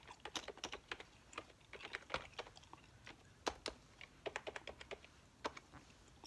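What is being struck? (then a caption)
Plastic computer keyboard keys. Fingertips with long nails type and tap quickly across the hollow plastic keys of a full-size beige plastic keyboard resting on a tiled table. A quiet, uneven run of short, crisp, bright clicks follows, each dying away almost at once, with little low end.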